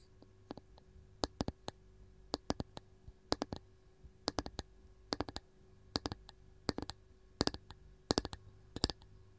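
A round, varnished wooden canister lid is tapped rapidly with the long gold nails of one hand. The sound is quick bursts of short, sharp, dry clicks with bright highs, coming in clustered groups with brief pauses between them, over a quiet, steady low hum.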